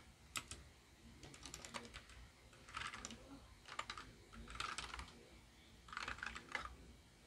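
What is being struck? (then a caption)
Plastic mechanical keyboard. Both hands type with their fingertips on a small white 60% mechanical keyboard, a Royal Kludge RK61 RGB wireless model with plastic keycaps and RGB lighting, resting on a desk. It gives bursts of sharp, bright plastic key clicks with short, quick decays and brief pauses between flurries.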